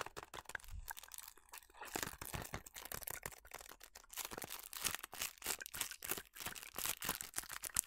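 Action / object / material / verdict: scrape / small paperboard box / paperboard / none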